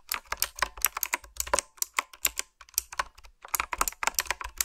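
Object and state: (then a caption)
Typewriter-style keyboard with round plastic keycaps. Fingertips and nails type on a retro typewriter-style keyboard with a dark frame, round black plastic keycaps and blue backlit switches. About two dozen quick, bright clicks and clacks come in uneven bursts, with a brief pause near the middle. Each keystroke is crisp and dry, dying away almost instantly.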